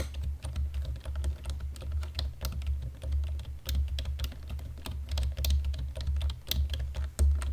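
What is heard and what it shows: A black plastic computer keyboard is typed lightly with the fingertips, hands resting on the keys, giving a steady run of soft, quick key clicks with bright, sharp tops. A strong low hum around 70 Hz runs underneath the whole time, and each click dies away quickly.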